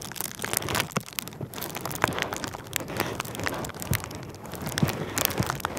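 A light, air-filled sheet of clear plastic bubble wrap is held near the microphone and rubbed and crinkled with the fingers. A steady, dense rustle runs throughout, broken by many sharp, bright crackles and small snaps that rise and fall in loudness, with occasional low, soft thumps underneath.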